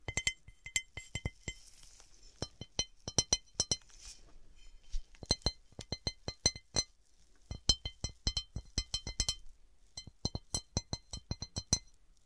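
A textured cut glass object is tapped and scratched with fingernails. Rapid, sharp glassy clicks with bright high ringing come in bursts, broken by short soft scratching passages. Each tap dies away almost at once.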